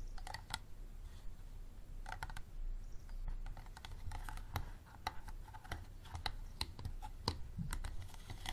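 Fingertips and nails tap rapidly on the sides of a small, empty, clear plastic bottle with a green cap standing upright on a table. The result is a quick, irregular stream of short, dry, hollow clicks with some bright edges, over a steady low rumble.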